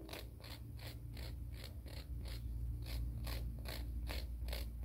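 A fingernail is filed back and forth along a grey emery board nail file held horizontally, making a steady run of short, bright, raspy strokes at an uneven rhythm of about three per second. A constant low hum sits underneath, and the level rises slightly about halfway through.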